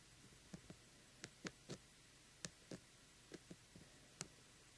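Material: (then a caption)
Plastic. Fingertips and nails tap the face of a small, hollow, light-up jack-o'-lantern lamp, lit from inside, with a coarse glitter-coated plastic shell. A series of short, dry, separate clicks with a bright edge and a soft low knock is heard over a quiet background. Each tap dies away almost instantly.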